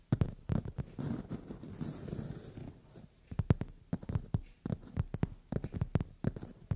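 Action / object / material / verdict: tap / padded leather sofa seat / leather / none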